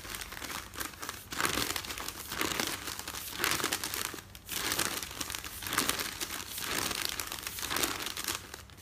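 Fingers and nails crinkle, fold and rub a folded stack of newsprint with a printed insert page on top. The result is a steady, bright papery crackle that swells and eases in loose waves, with brief quieter gaps between handlings and almost no low end.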